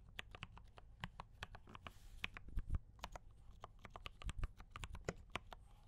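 A compact D84 mechanical keyboard with brown switches and cream and red plastic keycaps is typed on continuously with both hands' fingertips. About thirty quick, irregular keystrokes sound as short, dry clacks with a low thock and a bright tick on top. Each stroke dies away almost instantly over a quiet hiss.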